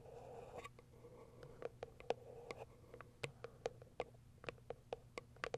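Long white acrylic nails scratch and tap the top of a small, closed, hollow white cardboard product box that has been turned to another side. A soft scratchy rustle gives way to a quiet series of sharp, dry taps with a hollow ring around 480 Hz that dies away almost instantly.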